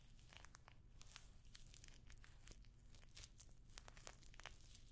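A rectangular clutch purse covered in rows of small, hollow rose-gold metallic pyramid studs is held up close to the microphone and scratched and tapped across the studs with long nails. The result is a quiet, continuous stream of crisp, bright clicks and crinkly scratches over a low, steady rumble.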